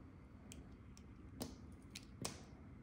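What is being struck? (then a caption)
Glycerine soap bar scraped with a knife blade. A metal knife blade held by the fingertips scrapes and shaves thin curls from a solid, hand-sized, round translucent orange glycerine soap bar with a cream-colored spiral-carved core, held in one hand. Short, bright scraping ticks stand out over a quiet, low background rumble, with the strongest near the middle and end of the clip.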